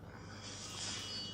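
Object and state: Nothing is struck.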